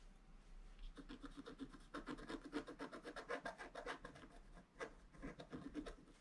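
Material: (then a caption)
Coated card. A wooden stylus scratches a rapid series of short strokes along a vase outline on a flat black-coated scratch art card. The result is a quiet, dry, rhythmic rasping with a faint mid-low tonal edge to each stroke, separated by brief pauses.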